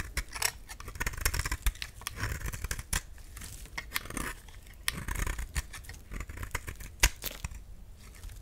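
A solid cream-white bar of soap is shaved with a utility knife, and crumbly chunks fall off. Repeated short, dry scraping and cutting strokes give a crisp, bright crackle over a low, soft rumble, with a few sharper snaps standing out.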